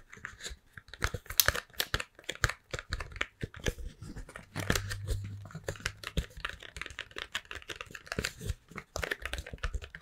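An apparently empty, long triangular printed cardboard Toblerone box, opened at one end, is held in both hands and tapped and scratched with long painted nails, with the foil-wrapped bar lying on the table. Dense, dry tapping clicks and bright scratchy rasps follow each other quickly, with a low hollow rumble swelling in the middle.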